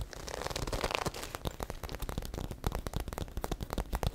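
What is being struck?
Glossy patent vinyl bag.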